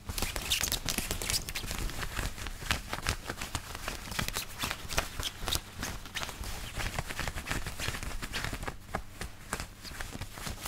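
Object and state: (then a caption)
Cotton shirt fabric being scratched. Fingertips and nails scratch and rub a white long-sleeve woven cotton button-up shirt worn on the body, working near the buttons and across the chest. A dense, continuous stream of quick, crisp scratching strokes is heard, with bright hiss over a soft low rumble and no lingering ring.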